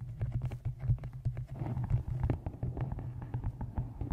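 Fingertips and long nails tap the sides and top edge of a solid, closed, dark-covered hardcover book resting on a microphone. Quick, soft taps come in a rapid, uneven stream, each a dull, boomy thump with a low hum around 130 Hz and almost no bright content. Each tap dies away almost instantly, leaving a muffled, heavy patter.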